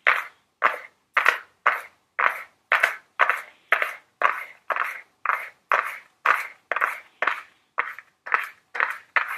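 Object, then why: Small flat cardboard box tapped with long fingernails. Very long blue nails tap a small, flat Ellen Tracy cardboard makeup palette box held upright, giving around two dozen separate taps at an uneven pace of roughly two per second. Each tap is a short, dry, papery knock centered near 2 kHz with a bright top edge and no low end, dying away almost at once.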